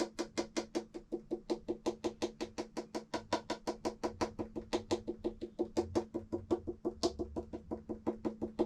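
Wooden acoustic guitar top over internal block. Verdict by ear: Solid.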